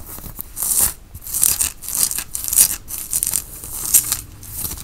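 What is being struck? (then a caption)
Cotton t-shirt. Fingertips scratch across the front and shoulder of a white cotton t-shirt being worn. The result is a run of bright, hissy scratching strokes that swell and fade in uneven bursts, with little low end.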